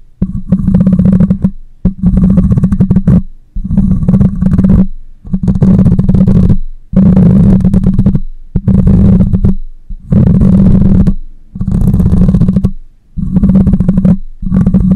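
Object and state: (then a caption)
Metal mesh microphone grille scratched. Long nails scratch the side of the hollow metal mesh grille on a black condenser microphone. About ten bursts of scratching, each a second or so long with short silent gaps between them, come through as a loud, boomy, low rumble with a steady hum near 190 Hz and almost no high or bright content.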